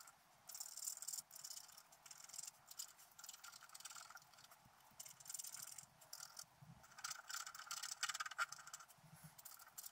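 A wooden stylus scratches the coating of a flat black coated scratch-art paper sheet lying on a table. Quiet, irregular bursts of dry, bright scratching come in quick strokes, with most of the energy high and a faint band around 1.4 kHz. There is almost no low end, and each stroke stops dead with no ring.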